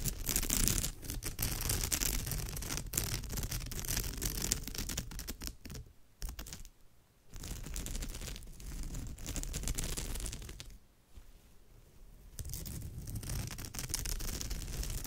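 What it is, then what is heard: Woven straw bag scratched with nails. Long nails on both hands scratch across the surface of a woven straw bag, making a dense, dry crackling scrape with bright high hiss over a low rumble. The scratching comes in quick bursts and pauses briefly twice, around the 6–7 second mark and again near 11 seconds.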